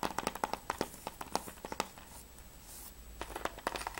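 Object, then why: Plastic game case. Fingertips and nails tap rapidly on the front cover and top edge of a closed, hollow plastic PS3 game case for Mirror's Edge. About 23 short, dry clicks ring out with a hollow knock around 860 Hz and bright edges, with a brief quieter gap before the tapping resumes.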